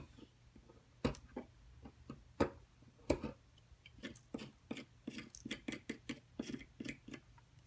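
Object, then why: Plaster block worked with a metal pick. A metal carving tool scrapes and picks into a rectangular, solid white plaster excavation block with embossed lettering, which is held flat on a table by one long-nailed hand as powder falls. About two dozen short, sharp clicks and scratchy picks sound in an irregular rhythm. A faint, steady low hum runs underneath.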